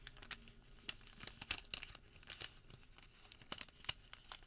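A thin printed white thermal paper receipt is rolled, folded and rubbed flat on a table with bare fingertips and palm. The result is quiet, bright, crisp crinkling and tearing-like crackles, with short sharp snaps scattered over a soft papery rustle.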